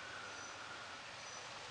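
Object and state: Nothing is struck.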